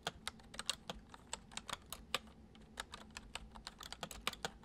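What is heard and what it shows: Fingertips of both hands type quickly on a full-size white plastic computer keyboard with hollow keys resting on a wooden desk. About 21 quick, bright, hollow clicks come in an uneven stream, each dying away almost at once, over a faint steady low hum.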